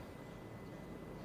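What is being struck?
Nothing is struck.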